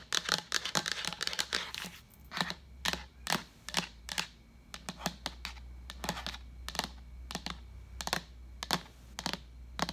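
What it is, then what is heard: Plastic pitcher tapped with fingernails. A translucent white plastic pitcher with a pink lid, hollow and empty, is tapped with long acrylic nails near the rim and side, close up. Quick, bright, clicky taps come dense at first, then spaced out, each dying away almost at once over a low steady hum.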